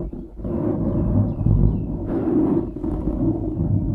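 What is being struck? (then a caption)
Foam microphone windscreen. Fingertips scratch and rub a dark grey foam windscreen on a microphone, producing a continuous low, muffled rustling rumble. The texture stays dense and low, with slightly brighter scratching swells partway through.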